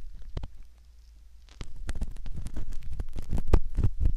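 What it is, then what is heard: Silicone ear model, scraped. A thin metal ear pick scratches and scrapes inside the canal opening of a soft, solid silicone ear model. Close, muffled rubbing and scraping comes in uneven bursts, with deep low thumps. It goes quiet for a moment, then grows busier and louder toward the end.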